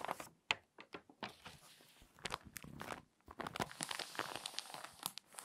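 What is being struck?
Glossy paper magazine.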